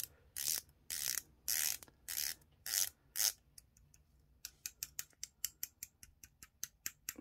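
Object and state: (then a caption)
Stainless steel dive watch bezel ratchet. The unidirectional bezel of a San Martin SN0088 dive watch, with a stainless steel case and bracelet, green dial and ceramic-look green bezel insert, is turned by fingertips while the watch is held in a white-gloved hand. Six longer, bright rasping ratchet runs are followed by a quick series of short, sharp clicks. The clicks are high and thin with almost no low end.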